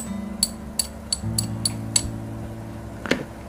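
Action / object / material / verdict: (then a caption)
strike / silver coin / silver / real. A genuine silver half-denomination Dutch East Indies coin of Queen Wilhelmina is tapped seven times, giving short, bright, high-pitched metallic clinks over quiet background music. The clear ring marks the coin as real silver, since a nickel imitation would not ring as clearly.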